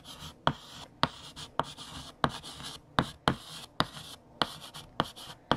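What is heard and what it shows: A hand writes on a large, flat, solid black chalkboard with a pink chalk stick, making scratching strokes. Sharp chalk taps land about a dozen times, each followed by a bright, hissy scraping stroke. The taps and strokes repeat in a steady rhythm.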